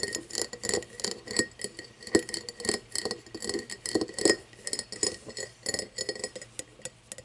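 An empty cut-crystal glass tumbler, partly hidden and cupped in the hands, is tapped and scratched with long nails. The result is a rapid, uneven run of short, bright clicks and glassy taps, each dying away almost at once, with a faint ring around 330 Hz and a thin steady tone near 2 kHz beneath them.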